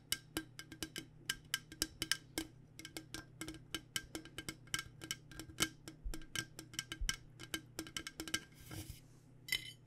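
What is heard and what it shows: Fingers or nails tap rapidly on an aluminum water bottle, producing dozens of quick, bright, clinking metal taps with a faint tone near 1.6 kHz that die away almost instantly. A brief scratchy brush sounds near the end, and a steady low hum sits underneath throughout.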